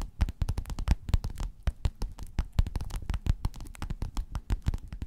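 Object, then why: Padded quilted faux-leather cover. Long nails scratch and tap a flat, padded, gold metallic quilted faux-leather cover. The result is a dense run of quick, dull taps and scratchy brushes with almost no ring. Most of the energy sits in a soft, low thump.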